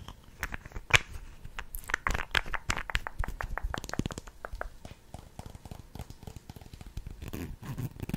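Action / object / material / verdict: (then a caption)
tap / plastic lip gloss tube / plastic / none. Long red nails tap and scratch along a slim pink translucent plastic lip gloss tube with a metallic cap, filled with gloss and held horizontally in both hands. The result is a quick, irregular run of crisp, bright clicks and dry scratchy crackles, each one short with almost no ring. A soft low rumble sits under the clicks throughout.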